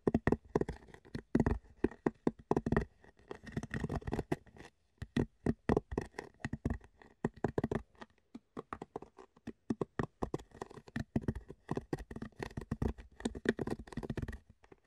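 An empty, hollow rectangular clear plastic food container, held in both hands, is tapped and scratched with the fingertips. The result is a fast, irregular patter of short, dry, hollow clicks and knocks with a mid pitch around 400 Hz, mixed with light scratching and brief pauses between bursts.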